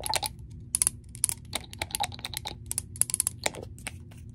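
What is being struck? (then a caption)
Small glass dropper bottle. A small amber glass essential-oil dropper bottle with a paper label and dark cap, hollow with its contents not clearly visible, is tapped with long nails. A quick, irregular run of sharp, bright clicks sounds, each dying away at once, over a low steady hum.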